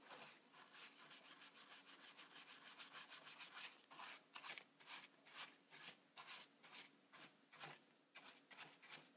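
A bristle brush is rubbed along the top of a hollow, black textured plastic Polaroid instant camera body held in a hand. The result is bright, dry, scratchy strokes: a fast, dense run at first, then slower, separate swipes with quiet gaps between them.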